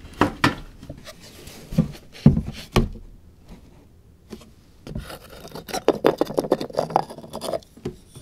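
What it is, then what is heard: Wooden puzzle box with sliding panels. Fingertips scratch the small sliding wooden lid panels of a light, hollow wooden puzzle box, sliding, lifting and scraping them. A few sharp, dull wooden clacks come first, then a quiet stretch with faint rubbing, followed by a dense flurry of quick scratches, scrapes and small knocks. The sound is short and dry, sitting mostly low with little brightness.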